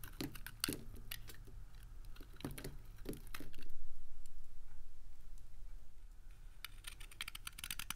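A metal utility blade slices crisp, brittle pieces off a small, dry, solid white soap bar with a silver-painted coating, held in the fingertips, leaving soap crumbs on the table. Sharp, bright crackling cuts come in quick clusters near the start and again toward the end, with a soft rising and fading scrape in between.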